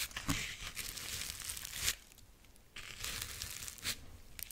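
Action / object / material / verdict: scrape / corn husk figurine / corn husk / none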